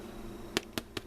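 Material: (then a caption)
Bread. Three short, dry taps on a honey wheat bread loaf baked about 14 minutes at 400 degrees, testing it for doneness. Each tap gives a brief hollow knock with almost no ring. The hollow sound shows the loaf is done.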